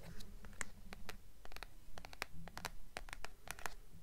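Long nails tap and scratch the paper dust jacket of a blue hardcover book, which is held at an angle and then tilted. Quick, bright clicks and dry scratches follow one another at a fairly steady pace of about two per second over a soft, low background hum.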